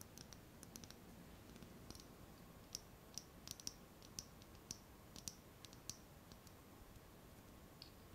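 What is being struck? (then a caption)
Small glass jar with metal lid. Long nails tap the body and the metal lid of a small clear glass jar held close to the microphone, giving quiet, sharp, bright clicks with a high ring. The clicks come in an irregular series over a steady low hiss.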